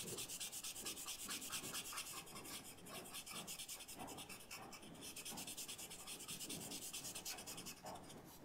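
A paper blending stump is rubbed repeatedly over a charcoal-shaded leaf on a white paper sketchbook to smudge the charcoal. The result is a quiet, bright, scratchy rubbing sound that continues throughout, with a loose back-and-forth rhythm of soft strokes.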